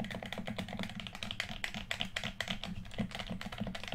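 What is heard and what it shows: A red, hollow plastic PS4 controller is held in both hands while fingertips rapidly click its buttons. The result is a fast, steady stream of short, crisp plastic clicks with bright, high tops and a soft low body, each dying away almost at once.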